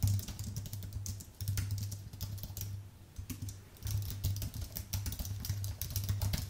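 Fingertips of both hands type on a white Apple full-size keyboard with an aluminium base and plastic keys, producing a rapid, uneven stream of short, bright key clicks. A steady low hum runs underneath, and the typing eases briefly around the middle before picking back up.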